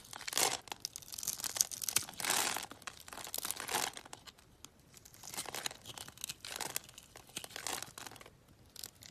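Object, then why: Bar of soap. A solid white bar of soap, scored in a grid and held in the hand, is cut with a box-cutter blade so small cubes crumble off. Bright, dry scraping and crunching bursts come in irregular waves, with a few louder crackling strokes and almost no low end. The cubes break away with soft, crisp crumbling and no ring.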